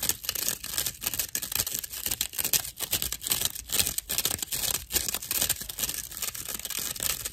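A slice of dried natural loofah fiber with hollow chambers, held upright and then flat, is scratched with long acrylic nails. The result is a rough, dry, bright scratching made of quick, uneven bursts that repeat throughout, with almost no low end and no ring after each stroke.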